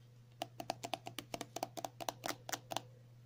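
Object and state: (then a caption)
Plastic cream tube. A pink and white squeezable plastic cosmetic cream tube with a cap is held in the hands and tapped and scratched with long natural nails. About 16 quick, dry clicks in an uneven rhythm, each with a hollow plastic tone around 700 Hz, sit over a faint steady low hum.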